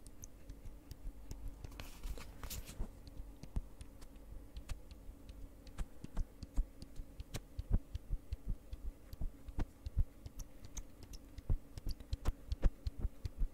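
A small, partly full white soft plastic hand cream tube with a flip-top cap is tapped and scratched close up by long red nails on both the tube and the cap. Quick, dry, irregular clicks and taps sound over a low steady hum, with a brief bright scratchy rustle near the two-second mark.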